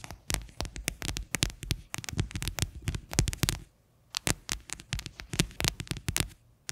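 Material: Plastic.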